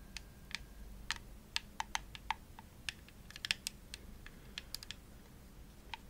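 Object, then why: Plastic game controller shell. Long nails tap and scratch the shell of a hollow, purple glossy plastic Xbox controller held near the face. About nineteen sharp, bright clicks come at an irregular pace, each dying out almost instantly, over a faint low hum.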